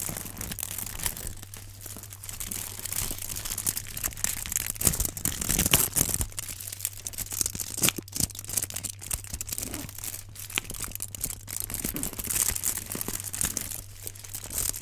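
A rectangular block wrapped in aluminum foil is held in both hands while gloved fingertips crinkle and scratch the foil. The result is a dense, continuous run of bright, crackling crinkles and scratchy rustles with brief louder crunches, over a steady low hum.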